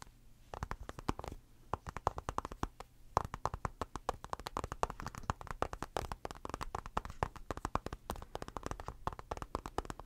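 Fingertips and short nails tap rapidly on the black glass screen of an iPad in a blue rubber case, held upright near the mic. The taps are quick, dry clicks centered around 1 kHz with a soft low thump under them, and they die away instantly with no ring. They come in dense, uneven bursts with brief pauses between runs throughout the clip.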